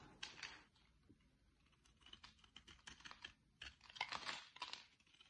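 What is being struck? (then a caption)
Bar of soap cut with a blade. A utility-knife blade cuts and shaves flakes from a solid oval green bar of soap with an embossed logo, held in the hand. Soft, bright, crisp scraping and crunching strokes come in short bursts, with faint quiet gaps between them.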